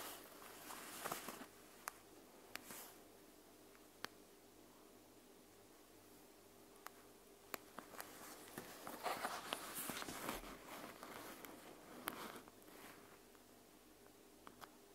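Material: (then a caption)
Plastic. Long nails scratch and tap the surface of a clear plastic panda gel bead eye mask with beads inside. Quiet, bright rustling scratches run throughout, broken by twelve sharp, clicky taps and a few brief squishy bursts.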